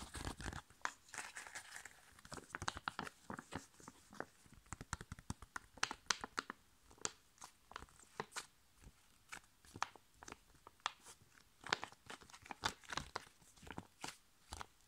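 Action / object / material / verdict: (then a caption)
tap / foil-laminated plastic sachet / foil laminate / none. A flat, sealed, foil-laminated plastic sheet face mask sachet is crinkled and tapped on its back with fingers and long painted nails. The result is a quiet, dense run of dry crinkles and sharp clicky taps, each dying away almost instantly, with a bright, papery crackle above.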